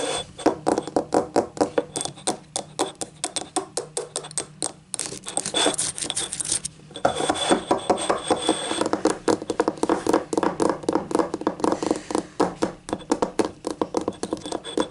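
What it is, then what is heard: Ceramic cup. Painted nails tap rapidly and steadily on the rim and outer wall of a small, hollow, empty yellow ribbed ceramic cup standing upright on a table. The result is a dense run of short, bright clicks, each with a brief hollow ring around 390 Hz. Midway there is a denser, scratchier stretch before the quick tapping resumes.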